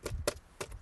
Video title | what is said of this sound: VW Tiguan 2017 | je vais pas dire que ça fait cheap, mais bref, ça reste du plastique